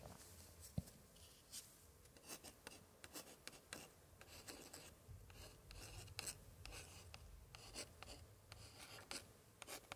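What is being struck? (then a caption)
Old paper scrapbook page. A gloved hand scratches and traces a thin pointer stick across a colorful floral paper page of an old 1880s scrapbook, while the other gloved hand holds the book open to the same spread. Quiet, dry scratching and rubbing strokes with bright, papery edges repeat throughout, with a sharp tap near the start and no ringing.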